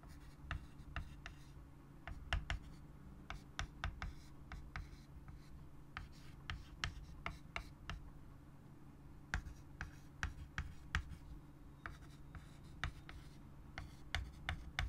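A white chalk stick writes text on a large, solid, flat chalkboard set in a wooden frame, making a steady run of short, sharp scratching strokes and taps. Each stroke is a brief bright click that dies away almost at once, over a constant low hum.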